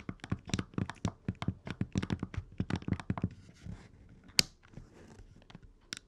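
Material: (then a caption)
Plastic. Fingertips rapidly press and click the D-pad and A/B buttons on an open red Game Boy Advance SP, a small hollow plastic handheld. A quick run of dull, low clicks and thunks gives way to a sharper click and then sparser, softer taps.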